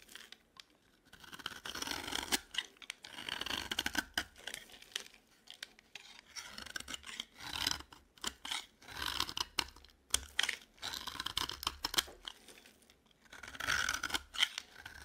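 A blade scrapes curls off the edge of a dry yellow bar of solid soap held in the palm. Repeated bright, crisp scraping and rasping strokes come in bursts with short quiet gaps, with almost no low end and no ring after each stroke.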